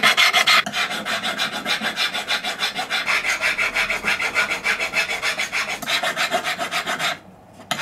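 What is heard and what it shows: A solid silver ring band, held against a wooden bench pin, has its edges and inside scraped with a steel needle file. The rapid back-and-forth strokes make a bright, gritty rasp that repeats about three times a second. The filing runs steadily for about seven seconds, stops briefly, then resumes with one last stroke.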